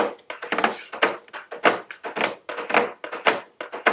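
Very long blue nails tap a medium square cardboard nail polish gift box with a round plastic window, held upright. A quick, uneven run of dry, hollow thunks and bright clicky taps follows, each dying away almost at once.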